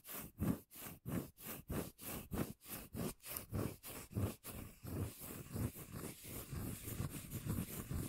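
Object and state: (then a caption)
Cork lid. Fingertips and nails rub and scratch the face of a solid, round, palm-sized cork lid held close to the microphone. Quick, evenly spaced scratching strokes carry a deep, bassy rumble with a rough, brushy top. In the second half they run together into denser, more continuous rubbing.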